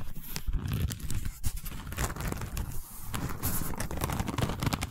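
Long nails scratch and tap a long cylindrical tube covered in a woven seagrass/straw weave. The result is a dense, continuous run of dry, crackly scratches and quick taps with a heavy low thump, brief bright rasps, and almost no ring after each contact.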